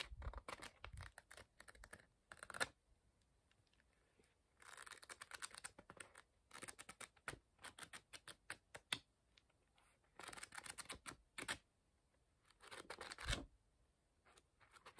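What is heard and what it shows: A paper book is held edge-on while fingertips riffle and flick the edges of its thick page block. Quiet bursts of fast, crisp, bright papery fluttering and ticking repeat with near-silent pauses between them.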